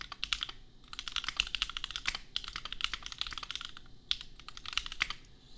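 Fingertips of both hands type on a $250 custom compact mechanical keyboard with Gateron Milky Yellow switches and red/pink plastic keycaps. Quick bursts of crisp, bright key clacks centred around 3.5 kHz die away almost instantly, with brief pauses between runs of typing.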